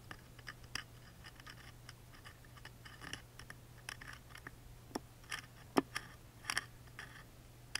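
A wooden toothpick scratches along the engraved dinosaur grooves of a small engraved wooden music box lid standing open. The result is quiet, dry scratching broken by short, bright ticks and clicks that stop instantly, with a few sharper snaps near the end. A faint, steady low hum runs underneath throughout.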